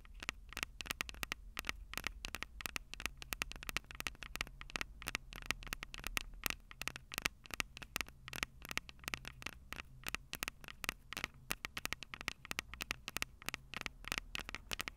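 Long purple nails rapidly tap and scratch the metal microphone capsules on a Tascam DR-05 recorder. The result is a dense stream of short, bright clicks and crackly scrapes that ring near 2.8 kHz, over a faint low hum and steady hiss.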